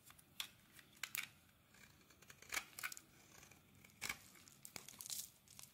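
A metal blade scrapes and shaves the surface of a solid, translucent glycerin soap bar held in the hand. It makes a series of quiet, crisp, bright scraping and crackling cuts with short gaps between them. There is almost no low-end body, and each stroke ends sharply with little ring.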